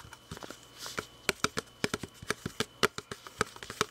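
Fingertips and nails tap and scratch the sides of a hand-sized, hollow, glossy red plastic drinking bottle with a grey cap, held close. Quick, dry, hollow plastic taps with a ringing tone around 400 Hz come in an irregular stream, with faint scratching between them.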